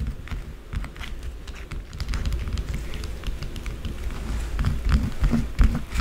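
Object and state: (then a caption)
Bar of soap being scratched. A small solid white bar of soap, held on a dark table, is scratched quickly and roughly with long blue acrylic nails, and shavings fall away. Rapid, uneven crisp scratches flicker bright over a steady low rumble, with a few louder scrapes near the end.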